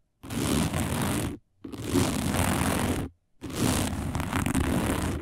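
Long nails on both hands scratch fast across a round, dark, coiled woven fiber placemat. The result is three dense, continuous bursts of rough scraping noise, each lasting about a second and a half with brief silences between. The sound has a heavy low rumble under a bright, hissy top.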